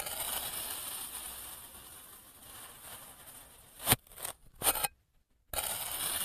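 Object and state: Kinetic sand block being sliced.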